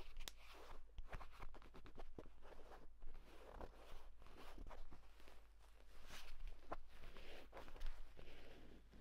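Fingertips rapidly scratch and tap across the cover of a flat, padded purple grained leather folio tablet case, next to the spine crease. The result is a fast run of short, dry scratches and crisp taps over a steady low hum.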